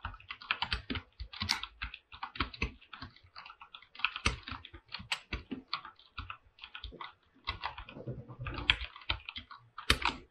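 Fingertips type continuously on a full-size mechanical keyboard with an aluminum body and white and light-blue PBT plastic keycaps. A rapid, steady run of short, bright clicks and clacks is heard, each key strike dying away almost instantly with a light low thock underneath.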